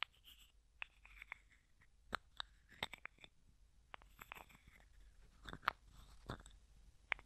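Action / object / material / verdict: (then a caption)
tap / small plastic jar with plastic screw lid / plastic / none. Fingertips and nails tap, scratch and twist the white plastic screw lid of a small, hollow, clear plastic cosmetic jar with a few small items inside. Quiet, bright clicks and ticks stand out over soft scratchy rustling, each tap dying away almost at once.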